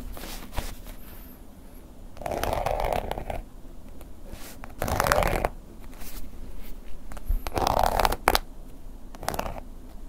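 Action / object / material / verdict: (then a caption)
scrape / embossed leather long wallet scraped with a wooden ear pick / leather / none. The tip of a wooden ear pick scratches and scrapes the woven-pattern embossed leather-like surface of a long, flat black wallet lying on a table. Soft, gritty scraping bursts come and go, each with a raspy mid-range tone around 770 Hz and a faint high hiss. Quieter light scratches and a low background rumble fill the gaps between them.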